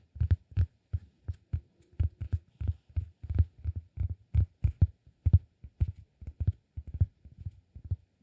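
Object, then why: Flat cork disk. A round, flat, solid cork disk held flat on the palm is tapped with fingertips and short nails. It makes a quick, uneven series of soft, dull, low thumps that die away almost instantly, with a faint click on some taps.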